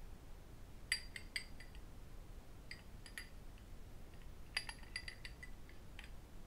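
A small, empty, hollow cut-crystal whisky tumbler held in both hands is tapped and clinked with metal rings worn on the fingers and with fingertips. Short, bright glassy clinks with a high ringing tone come in scattered clusters and die away quickly. A quiet low rumble runs underneath throughout.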